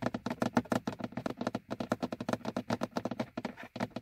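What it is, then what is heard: Plastic dashboard gauge hood tapped. The hollow, molded plastic hood over a car's speedometer is tapped with the fingernails of both hands in a fast, steady run of about 29 short, dry clicks. Each tap has a hollow knock centered low in the midrange and dies away almost instantly.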